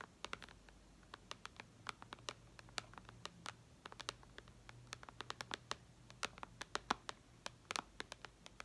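Long red nails tap and scratch the glass touchscreen of a white iPad lying flat. Many quick, sharp, bright clicks come in irregular bursts, each dying away almost at once, over a low, quiet hum.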